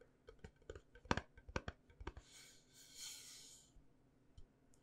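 A small round aluminum candle tin with a lid and a solid candle inside is held in the hands and tapped with the fingernails on its lid and sides. Quick, irregular, bright clicking taps die away almost instantly, followed by a soft, airy hiss before a few last faint taps.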